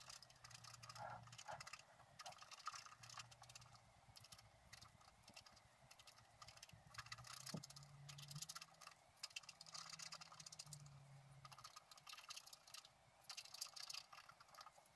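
A wooden stylus held in the fingers scratches away the black wax coating of a flat scratch-art card, exposing the colour beneath as the card lies on a table. The result is quiet, steady, bright rasping and scratching in quick strokes that swell and fade, over a faint low hum.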